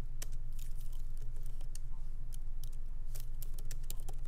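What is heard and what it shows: Fingertips of both hands type lightly on a MacBook Pro laptop keyboard with black plastic keycaps in an aluminum body, resting on a wooden desk. Quick, uneven, bright clicks and soft taps sit over a steady low hum.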